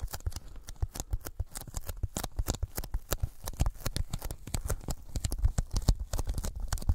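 Sticky fingertips tap rapidly and irregularly on a thin white closed-cell polyethylene foam sheet held over the microphones. Each tap is a soft, deep, muffled thump with a brief tacky click as the fingers pull away, dying out almost instantly.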